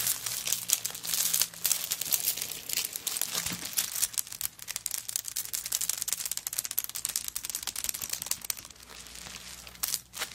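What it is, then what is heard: Coconut shell bag. Long nails tap and scratch across a handbag covered in coconut shell chips, which has a wooden bead handle. The result is a dense, bright, crackling stream of quick clicks and scrapes with almost no low end, briefly easing and then picking up again near the end.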